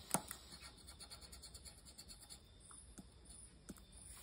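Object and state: Lottery scratch card being scratched.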